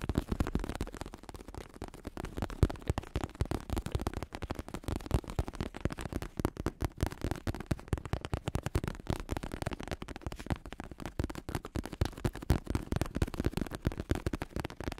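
A medium-size black bicycle saddle with a red trim line, its synthetic leather vinyl cover over a foam-padded plastic shell, is held up close while fingertips tap quickly on its surface and underside. The result is a steady stream of rapid, soft, dull thuds, heavy in low tones around 90 Hz, each dying away almost instantly with no ring.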